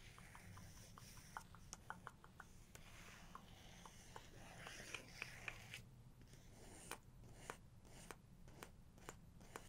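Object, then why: Paper book page. Long nails tap, scratch and trace across the paper pages of an open photo book, giving quiet, dry clicks and soft rustling scrapes over a low background hum. Sharp, bright taps recur throughout, with a denser stretch of scratching and tracing in the middle.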